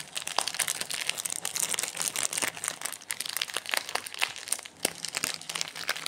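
A small, solid Kinder Bueno bar sealed in a glossy plastic wrapper lies on a granite counter as fingertips and short nails press, rub and crinkle the wrapper ends. The result is a continuous run of bright, crackling plastic crinkles with sharp, fast-fading snaps and almost no low-end.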